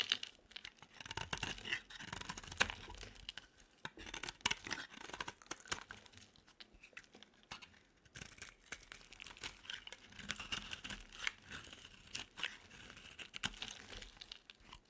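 A knife blade scrapes and carves curls off an oval, solid, purple dry bar soap held in the palm. The result is a steady stream of soft, bright, crackly scraping and crunching sounds with quiet pauses between strokes.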